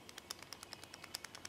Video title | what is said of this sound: Video #2 Review matos: Mods Meca: Stingray by JDTECH | vous entendez, c'est la queue qui secoue dedans